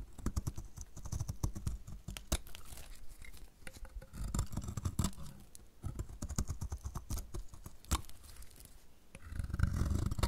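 A metal utility blade shaves thick curls from the corner of a solid, dry yellow bar of soap in repeated strokes. Each stroke brings a burst of crisp, crackly scraping with sharp ticks, heavy in low thuddy body. Brief pauses separate the strokes.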